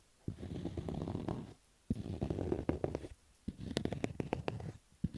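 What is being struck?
Cotton baseball cap.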